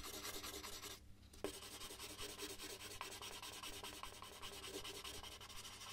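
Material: Paper.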